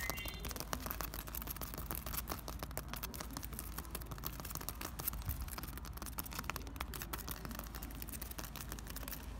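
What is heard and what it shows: Two hands quickly scratch a large, solid, rough plaster or concrete wall with cracked, peeling patches, using fingertips and short nails. The result is a dense, continuous stream of fast, dry scratching with crisp, bright ticks over a steady low hum, holding an even level throughout.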